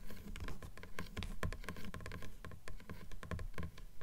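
Long nails tap and scratch along the paper page edges of a closed blue book, the pages forming a solid stack. A quick, uneven run of soft, dull taps mixes with dry scratching. Each tap dies almost at once with no ring, and the sound stays low and muffled.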